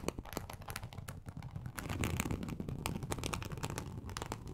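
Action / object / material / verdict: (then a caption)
scrape / textured embossed leather sheet / leather / none. Long acrylic nail tips scratch across a large, flat, teal snakeskin-embossed leather sheet. The result is a steady, dense crackle of rapid scratches, with a low, rumbling body under bright, crisp ticks as the nails catch on the raised texture. It swells slightly louder through the middle.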